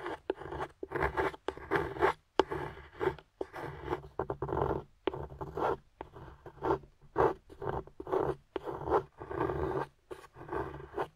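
Fingers hold a flat, solid dark chocolate bar while a small metal carving tool with a wooden handle scrapes shavings off it. The clip is a quick run of short, dry, rasping scrapes, each stroke a brief gritty burst centered in the mids near 380 Hz. Short gaps of silence separate the strokes, and there is almost no deep low end and no ringing.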